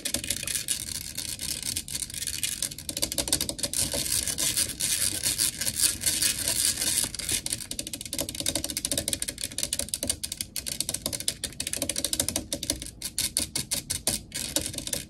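Long acrylic nails of both hands rapidly tap and scratch the hollow, dark metal mesh grille of a large blue desktop condenser microphone. The result is a dense, continuous stream of crisp, bright clicks and scraping with very little low end. Each tap dies away almost at once.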